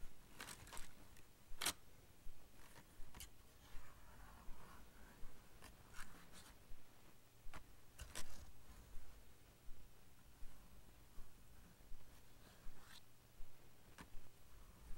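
Fingertips and nails tap and scratch the printed surface of a small, thin Ticonderoga cardboard pencil box lying on blue fur, open at one end and apparently holding pencils. Soft, dry scratches and light taps come at a fairly steady pace over a low background hum.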